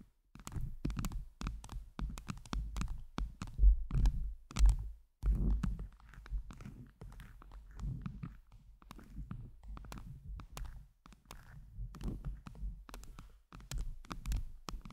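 Long jeweled nails tap and scratch blue and teal acrylic heart gems covering a round microphone head. Dense, irregular soft thuds and scratchy rubs are heard, deep and muffled with almost no bright content, each dying out quickly.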